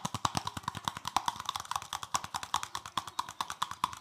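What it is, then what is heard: Plastic bristle brush. Fingertips rapidly scratch and tap the stiff plastic bristles of a palm-sized green plastic scrubbing brush with a solid back. The result is a fast, irregular stream of short, dry clicks and scratchy ticks, each with a bright crisp edge and a slight tonal ring near 1 kHz that dies away almost instantly.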